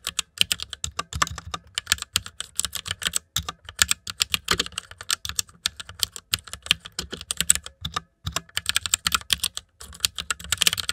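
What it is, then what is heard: Plastic mechanical keyboard being typed on. Fingertips type fast on a full-size white mechanical keyboard with plastic keycaps and RGB backlight, resting on dark fur. A dense, uneven stream of sharp, bright clacks and taps comes in quick bursts, with brief pauses. Each keystroke dies away almost instantly, with little low end.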